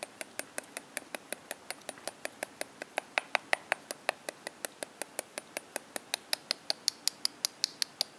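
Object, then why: Whole mangosteen fruit tapped with metal fork tines. A single whole, hand-sized purple mangosteen with its stem cap and solid thick rind is held in the palm and tapped and scratched with the tines of a metal fork. About 45 crisp, bright clicks follow one another at a quick, fairly steady pace, each dying away almost instantly with no low rumble.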